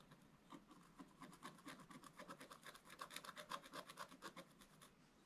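A wooden stick scrapes across a wax-coated scratch-art paper page, held at an angle and then upright. It makes about 22 quick, dry raspy scratches in a steady back-and-forth rhythm, with a gritty tone around 1 kHz and bright, hissy edges. The strokes grow louder in the middle, then fade slightly toward the end.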